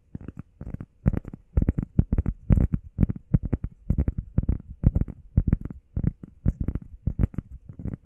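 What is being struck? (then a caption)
Foam workout pad. A heart-shaped, grey, textured foam workout pad, about hand-sized, flat and solid, is held in both hands and fast-tapped and scratched with the fingertips and medium painted nails. Rapid, irregular clusters of soft, dull, low thuds follow one another with almost no ring, plus faint bright ticks. The sound stays muffled and bassy throughout.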